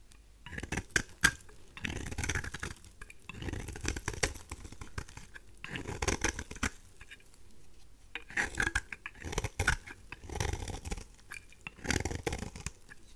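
A craft knife blade scrapes a thin oval slab of dry, solid pink rose soap into curls, producing bursts of dry, crackly rasping with a soft low body and brittle high crunch. The strokes come in repeated passes separated by brief quiet gaps.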